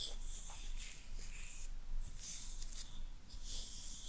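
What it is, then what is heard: Boar bristle hairbrush being scratched. Long nails scratch through the boar bristles of a hairbrush with a wooden handle. The result is soft, bright, hissy rasps in repeated bursts over a steady, quiet low rumble.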